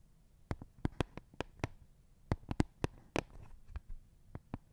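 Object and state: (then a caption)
Plastic Lego baseplate. Fingertips tap and scratch along the studded surface and edge of a thin, flat, green plastic Lego baseplate held edge-on beside the microphone. About fourteen quiet, short, dry taps are heard, each a sharp click with a soft low thump and almost no ring, spaced irregularly, with faint scratchy rustle between them.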